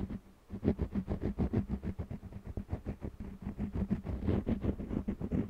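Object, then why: Wax crayon on stretched cotton canvas. An orange jumbo wax crayon rubs and scratches across a small stretched cotton canvas panel held in one hand while coloring. About twenty quick, uneven back-and-forth strokes make a dull, low scratchy rasp with a faint hum under it. Each stroke stops short with almost no ring.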